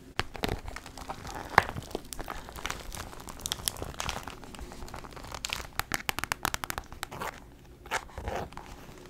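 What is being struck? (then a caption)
Clear PVC vinyl handbag. A medium, hollow, clear pink translucent PVC Barbie rainbow handbag is crinkled, tapped and scratched with long nails. Dense plastic crinkling and scratching mix with sharp, bright taps that die away almost instantly. There is a brief quieter gap near the end before a final burst of crinkling.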